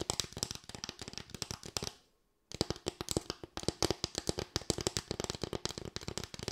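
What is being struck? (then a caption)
Bamboo slatted board. A small, light bamboo board of solid wood with raised slats is tapped and scratched with long white nails. Rapid, sharp, dry clicks with a faint hollow tone near 340 Hz and bright, crisp edges run throughout, broken only by a brief silence around two seconds in.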